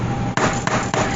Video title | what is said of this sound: Easy French Bread | Give it a thump. Listen for the hollow sound. Wonderful. That's what we want.